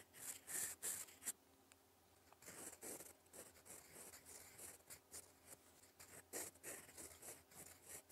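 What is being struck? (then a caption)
Metal fountain pen nib on a paper sheet. A gold fountain pen nib writes cursive strokes in black ink across a flat sheet of lined cream paper. Quiet, bright scratching comes in uneven bursts, with short pauses between strokes.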